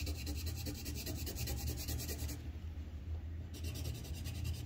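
A red wooden colored pencil held in the fingers scratches shading strokes along the pot rim on a thin white paper sheet resting on a clipboard. Steady, rhythmic dry rasping sits over a constant low rumble, and the bright scratchy strokes drop out briefly in the middle before resuming.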